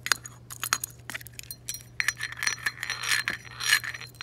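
Long acrylic nails tap and handle a hollow, embossed green glass tiki torch canister with a black cap and a metal bead chain, standing on a table. Quick, irregular bright clicks and glassy chinks, some with a short ringing tone around 1.6 kHz, mix with a rattling, jangly shimmer. A faint steady low hum runs underneath.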